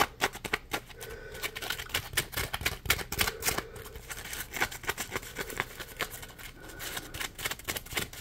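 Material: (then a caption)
Polymer foam. Fingers tap, squeeze and scratch a small, solid, yellow ridged polymer foam Scrub Daddy Puppy scrub sponge. The result is a rapid run of many dry, crisp ticks and scratchy rasps with a bright, papery top. Faint, brief squeaky tones sound between them.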